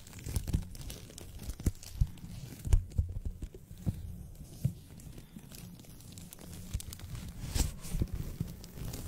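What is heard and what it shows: A thin white paper sheet is held in both hands over a microphone and bent, rubbed and crinkled with the fingertips. The sound is a steady, close crackling and rustling, mostly low and muffled, with many short crisp snaps rising out of it.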